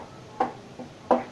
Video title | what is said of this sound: Tips Membeli Vespa | kalau suaranya nyaring berarti dia masih mulus